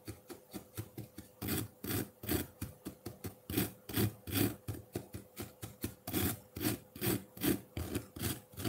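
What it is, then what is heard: Block of ice scraped with a fork. A solid block of colored ice in a ceramic bowl is scraped with the tines of a metal fork, making a gritty, rasping shaving sound. About thirty short strokes come in a quick, uneven rhythm, with some longer, louder scrapes among them.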